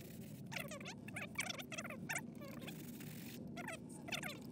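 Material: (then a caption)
Leather. A brown Lucchese leather cowboy boot, wet with cleaner and held over a plastic utility sink, is scrubbed back and forth with a small plastic bristle brush held in the fingers. Bursts of bright, scratchy bristle strokes rasp against the hollow boot in a quick rhythm over a steady low hum.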